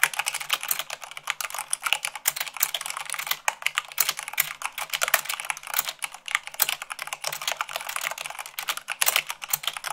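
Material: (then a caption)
Plastic. Rapid typing with fingertips and long nails on a white plastic mechanical keyboard produces a dense, steady stream of sharp, bright clicks and clacks. The keystrokes come too fast and overlap too much to count cleanly, each dying away almost instantly with almost no low end.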